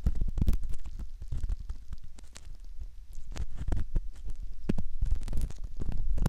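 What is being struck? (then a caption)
Silicone ear model scraped with a metal ear pick. A thin metal ear pick scratches and scrapes inside the ear canal opening of a soft, solid silicone ear model, heard up close. The sound is a dense run of muffled, low, rumbling scrapes and rubs, with occasional bright crackling ticks. The strokes come in an uneven stream with no clear rhythm.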